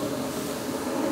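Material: Nothing is struck.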